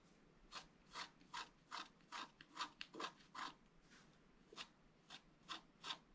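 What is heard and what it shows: A wooden stylus scratches near the top of a flat black coated scratch art paper board. Thirteen short, dry scratching strokes are heard as bright, raspy bursts at an uneven pace, with a brief pause midway. The strokes are quiet and stop quickly, with no ring.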